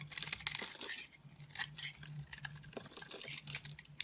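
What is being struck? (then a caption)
Bar of soap scraped with a metal blade. A metal blade scrapes and carves crumbly flakes from the edge of a solid, hand-sized, rectangular orange Essense&Co soap bar held in a hand with long nails. The result is a quick run of crisp, bright, dry scraping and crackling bursts over a faint, steady low hum.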